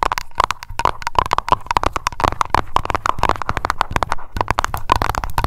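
Long nails tap rapidly on a small glass aroma candle jar labeled Lavender and filled with wax. The result is a dense stream of short, dry clicks, each carrying a faint glassy ping around 1 kHz that dies away almost at once.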